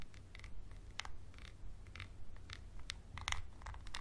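A wooden pencil scratches and taps a small textured glass bottle with a label, held close. Short, bright clicks and scrapes come at an uneven pace, with a ring near 2 kHz that dies away almost at once. A steady low rumble sits underneath, and the overall level stays quiet.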